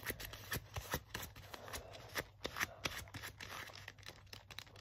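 Fingertips and nails scratch and tap the chest and the textured, distressed forearm sleeve of a worn black leather jacket. Quick, dry clicks and taps are heard amid a scratchy, bright rustle, over a faint steady low hum. Each tap dies away almost at once.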